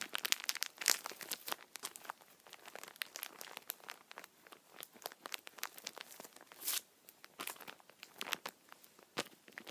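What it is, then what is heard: Plastic-wrapped tissue multipack. A hand-sized multipack of paper tissue packets in thin plastic film wrap, soft and full, is held and squeezed by both hands with the fingertips. The film gives a dense run of bright, dry crinkles and sharp crackles with no low end. Each crackle stops almost at once, with louder bursts near the start and around the middle.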